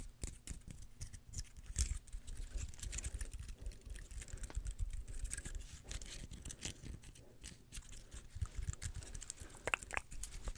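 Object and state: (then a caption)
Dry pine cone. A small, dry, brown woody pine cone with open scales is held in both hands close to the microphone and scratched and plucked across its scales with long nails. The result is a dense, steady run of dry, crackly scratches and quick bright clicks over a low, soft handling rumble.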